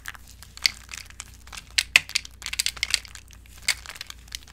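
Two hands with long acrylic nails squeeze and crush handfuls of brittle, dry white bar-soap chips broken up in a bowl. The result is a run of crisp, bright crunches and crackles, with sharp snaps that stop instantly between quieter rustling. There is almost no low end.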